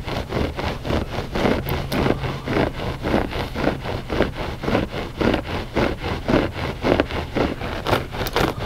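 Short fingernails scratch the pile of a flat gray loop-pile textile rug, solid and soft. Steady, rhythmic strokes come about twice a second, each a dry, rustling scrape with a soft midrange grain over a low rumble.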